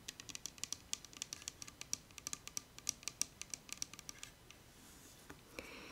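Fingernails tap rapidly on the body and orange plastic cap of a translucent plastic bottle of peach toner, full of pinkish liquid and held on a table. About thirty quick, sharp, bright clicks come in an uneven patter for four seconds, then stop, leaving a faint hiss and a soft brush at the end.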